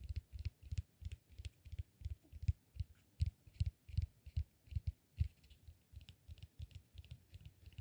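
A small, solid, peanut-shaped cork massage ball is held in both hands and tapped and scratched with fingertips and nails. The result is a quiet, rapid run of dull, low, woody taps, each with a short bright click on top. The taps come at an uneven rhythm throughout.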